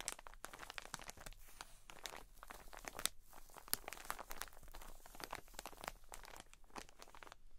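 Long nails rapidly scratch and tap a soft cotton wool pack in plastic wrap. The result is a dense stream of quiet, crinkly, crunching clicks with bright, sharp onsets and no ring.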